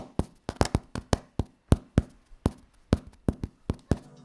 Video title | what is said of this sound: How To Make A Cottage Loaf - Amused Bouche | when you tap the bottom it will sound Hollow